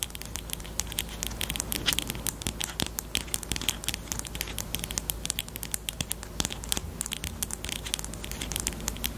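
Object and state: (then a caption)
Plastic highlighter pen. A small pink plastic highlighter pen with a black cap and hollow body is held horizontally in both hands and tapped and scratched with long almond-shaped painted nails. Rapid, dense, bright clicks and crisp scratchy crackling continue throughout over a faint steady low hum.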